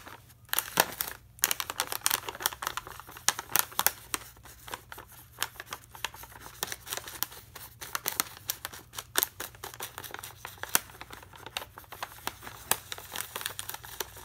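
A full plastic foil bag of Aloo Bhujia, held in one hand, is scratched and tapped with a metal pen tip. Quiet, crisp crinkling and scraping runs throughout, broken by many sharp, bright clicks that stop almost at once.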